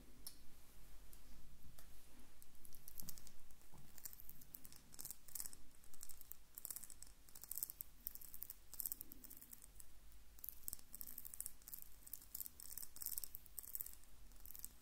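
Long painted nails tap a small, hollow, glossy pink ceramic jar with a knobbed lid held in one hand. The result is a quick, uneven stream of light, bright clicks, each one dying away almost at once.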